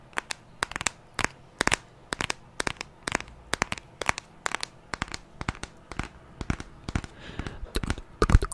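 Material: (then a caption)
Glass. Fingertips and nails tap the edges and screen of a white glass and aluminium smartphone held horizontally above the microphone. A steady stream of sharp, dry clicks and light crackling taps, some in quick clusters, rings briefly with bright edges over a faint low hum. The tapping grows busier and louder near the end.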